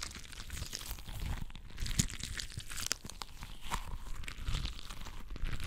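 A palm-sized, translucent rubber stress ball filled with water beads is gripped and squeezed in one fist. Heard up close, the squeezing makes a continuous stream of sticky, wet crunching and crackling with dense low squelching and bright crinkly pops over a faint hiss. Sharper pops stand out now and then.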